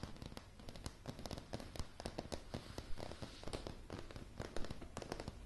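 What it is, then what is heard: Solid wooden plank floor. Long polished nail tips tap quickly and irregularly on solid, light pine floorboards. Each tap is a short, dry click with a low wooden thump and almost no ring, forming a dense, crackly run of uneven taps.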